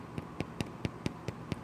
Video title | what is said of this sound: Keto Recipe: How I make my Keto Bread | when you turn them over tap on it and you hear a hollow sound that's when they're done